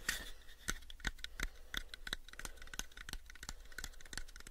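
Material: Wood.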